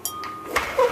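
A thrown clay pot that has been bisque fired once is flicked with a finger a few times. Each flick gives a short, clear ring centered around 480 Hz. The ringing is normal for a bisque-fired pot.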